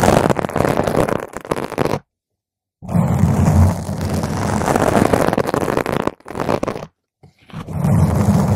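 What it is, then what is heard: Foam microphone windscreen scratched. Fingernail tips scratch a round purple foam microphone windscreen, then all the nails of both hands scratch it together. The result is a dense, muffled, rumbling scrape, heavy in the low end with almost no brightness. It breaks off into short silences before starting again.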